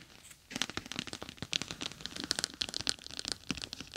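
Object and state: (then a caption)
Plastic gel bead eye mask. A clear plastic gel bead eye mask with a green fabric rim rests on top of a microphone while long acrylic nails tap its surface with their tips, then scratch and rub along its sides. After a quiet first half second, dense crisp clicks and crinkly, crackling scrapes follow one another. The sound is bright and high with little low end.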